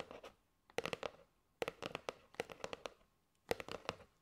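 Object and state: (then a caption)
Cardboard box of paper straws. Fingernails tap a kraft cardboard box with a plastic window, full of paper straws, while both hands hold it. Quick, dry clicks come in clustered bursts separated by brief pauses, each tap short and sharp with a hollow tone around 480 Hz and a bright edge.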